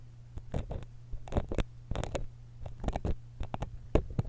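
A thin steel dental pick scratches the metal capsule and grille of a small silver X/Y stereo microphone held steady by one hand. The result is a series of short, dull scraping and tapping bursts, heavy in low thumps. A steady low hum runs underneath.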